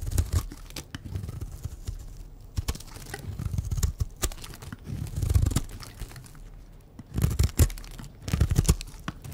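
A white rectangular bar of dry soap, held in the hand, is shaved into flakes with a utility knife blade. The result is a run of dry, crackly scraping strokes with sharp crunchy clicks. Each stroke carries a deep, muffled low rumble and dies away almost at once.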